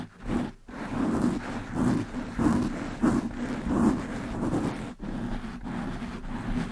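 Long nails scratch and brush quickly across a black foam windscreen on a desktop microphone. The result is a dense, muffled scraping rustle with a low, boomy body and little high end, swelling in rough surges about every two-thirds of a second, with brief drops to near silence around 0.6 and 5 seconds.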